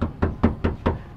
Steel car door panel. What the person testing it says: kalau kalian ketok memang besinya ya khas dengan besi hondahonda di price point segini